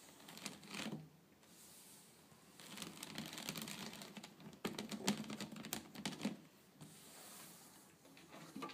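Long painted nails tap and scratch quickly across a flat woven rattan/wicker tabletop. Bursts of dry, bright clicks and rasping scratches come with short quiet gaps, and each tap dies away almost at once.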